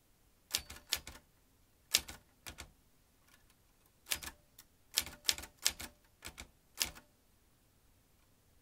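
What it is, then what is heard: Manual typewriter typing. Fingertips of both hands type on the round keys of a vintage metal manual typewriter. Sharp, bright metallic clacks come in short bursts of one to three strikes, separated by brief quiet pauses. Each strike is crisp and dies away almost instantly, with very little low end.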